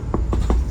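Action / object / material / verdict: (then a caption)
knock / bus body panel / unknown / solid. Three knocks on a body panel inside a Morodadi Prima double-decker bus body give dull, solid thuds with little ring over a steady low rumble. The panel is very sturdy; potholes caused no rattle from the body, only from the seat frame.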